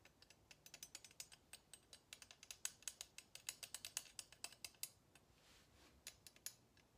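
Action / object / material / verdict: tap / kitchen tongs with wooden handles / wood / none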